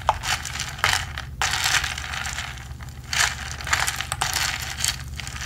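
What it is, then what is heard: Plastic tumbler with ridged straw rubbed through lid. A ridged plastic straw, held by the fingertips, is pumped repeatedly through the lid opening of a hollow, medium blue plastic tumbler with a textured wall, rubbing against the lid. The result is bright, dry, scratchy rasping in uneven bursts with short crinkly clicks, over a steady low hum.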